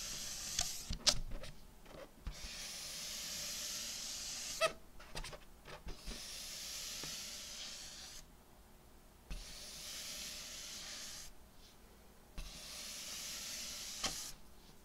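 A palm and fingers rub and slide over the surface of an inflated, hollow purple metallic latex balloon. Long, bright, hissing rubbing passes alternate with short pauses, broken by sharper squeaks and taps.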